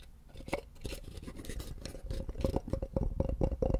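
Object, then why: Small wooden box. Fingertips tap and scratch a small, light-colored molded wooden block or box, likely hollow, held just above the microphone. Soft, dull knocks fall in an uneven rhythm over a dry scratching rustle, with a faint hollow tone around 530 Hz ringing under each tap. The taps grow louder and more frequent toward the end, with a close, bass-heavy sound.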